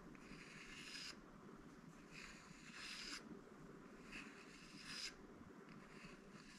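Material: Bamboo.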